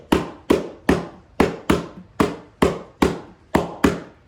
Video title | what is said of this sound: Ms. Kathy's class #15 - Making drums | It sounds pretty hollow, doesn't it?